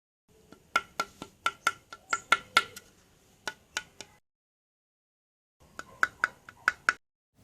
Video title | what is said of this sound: -- HOW TO MAKE PAPERCRETE POTS -- RECYCLING WASTE PAPER -- | Now when you tap onto the pot, you can hear this sound. This indicates that the pot is completely cured.